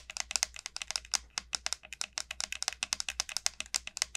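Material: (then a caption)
Gourd shell. Long nails tap and scratch across the hard, hollow shell of a large, elongated dried bottle gourd. About thirty quick, dry clicks follow one another with almost no ring, all bright and crisp with very little low end.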